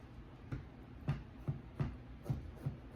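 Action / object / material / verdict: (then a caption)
scrape / baked pastry pie crust cut with a knife / pastry / crisp. A knife cuts into the warm double crust of an Achatz Handmade Pie Co. vegan apple pie, making a series of soft, low, short crunches over a quiet background. The baked pastry crust sounds toasty and a little crunchy, and the cutting can be felt through the knife.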